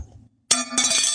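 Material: Metal.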